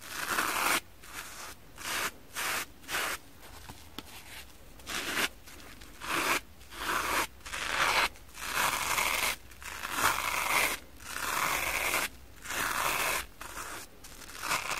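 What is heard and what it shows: A metal kitchen knife blade is scraped across the foamy surface of a soft, porous pink kitchen foam sponge covered in soap lather and held in one hand. Repeated short bursts of bright, crunchy, rasping scraping alternate with brief quieter pauses, with almost no low end.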